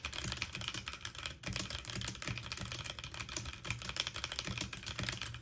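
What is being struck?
Mechanical keyboard, plastic keycaps on metal frame.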